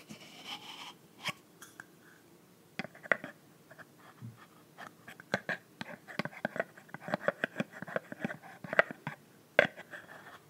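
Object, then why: Plastic bottle cap. Long nails tap and scratch the frosted pink plastic cap of a PINK body mist bottle, a clear plastic bottle filled with pink liquid. Quick, dry plastic clicks and light scratching come in uneven bursts, with short ticks that die away almost instantly over a quiet background.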